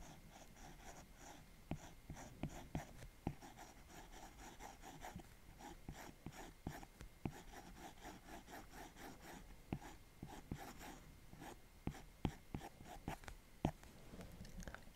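An Apple Pencil's plastic tip taps and rubs in small strokes on the glass screen of a large iPad Pro, while a left hand with long nails rests still on the tablet's edge. Sharp, dry clicks stand out at irregular intervals over a soft, continuous scratchy rubbing. The sound is quiet and close.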